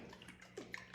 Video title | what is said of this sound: Farm Fact Friday - How to make Homemade Butter from a Mason Jar | it slaps the side of the jar